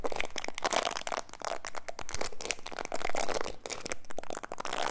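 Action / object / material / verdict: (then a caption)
scrape / plastic bristle hairbrush / plastic / none. A black plastic detangling hairbrush held in the hand has its plastic bristles scratched by fingertips and nails. The result is a dense, continuous run of crackly, crunchy scratching with quick bright clicks and ticks that barely ring.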